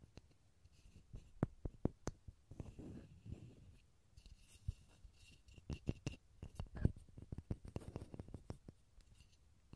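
Fingertips tap a small solid pine wood block held over a stereo recorder, giving a quiet, irregular run of short, dry knocks with a low body and very little ring. Between taps there are soft rubbing sounds, and a faint steady high tone runs underneath.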